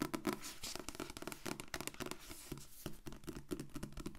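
Long painted nails scratch and tap the glossy blue card back cover of a medium paperback book held upright. The cover stays solid, giving a quick run of crisp, dry taps with a hollow, papery knock in the lows. Bright scratchy rasps run between them, and each sound dies away almost at once.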